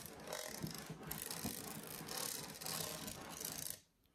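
Fingers move over the grid-textured studs of a red metallic-finish plastic Starbucks cold-cup tumbler, hollow and about 25 cm tall, held up in one hand. A steady, bright, rasping rattle runs throughout, dotted with small clicks. It drops abruptly to near silence just before the end.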